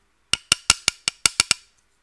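A knife blade taps the metal casing of a JetKVM remote-control device, just peeled of its protective film, eight times in quick succession. Each strike gives a bright, glassy clink that dies away almost at once. The casing proves to be metal, not textured plastic.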